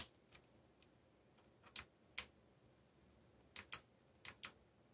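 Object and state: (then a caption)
Plastic mechanical keyboard. Fingertips type in quick bursts on a backlit mechanical computer keyboard with plastic keycaps. Sharp, bright key clicks land singly and in close pairs, each dying away almost instantly over a faint, quiet background.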